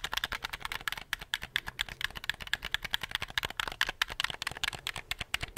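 Fingertips click the buttons and triggers of a handheld black plastic gamepad held in both hands. About 38 quick, sharp plastic clicks come in an uneven, steady stream over five and a half seconds. Each is bright and dry with almost no low end, and stops instantly without ringing.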